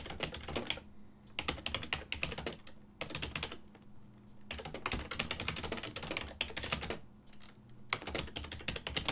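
Fingertips type on a full-size black and silver plastic ergonomic desktop keyboard with hollow key switches. Bursts of rapid, bright, clicky key taps are broken by short pauses, over a faint steady low hum.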